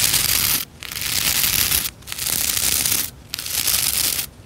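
Fingertips and long nails rub and scratch across the stiff nylon bristle tips of a hand-sized white plastic scrub brush. Four long, bright, hissy scratching passes sound out, each a dense crackle of bristles separated by brief near-silent pauses.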